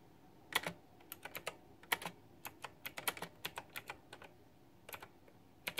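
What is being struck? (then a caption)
Plastic mechanical keyboard with round keycaps. Fingertips with long nails on both hands type on a white backlit plastic retro mechanical keyboard with round typewriter-style plastic keycaps. About 23 sharp, bright plastic clicks land in irregular bursts with short pauses, each dying away almost instantly over a faint background hiss.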